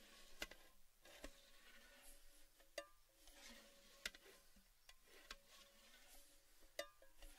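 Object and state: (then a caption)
Empty metal tin. Fingertips and nails tap and scratch the rim and inside of a tall, hollow, orange cylindrical metal Baileys tin with its lid off and empty. Quiet, sharp metallic taps with very short, bright ringing stand out over soft, steady scratching and rubbing. A faint tonal hum runs underneath.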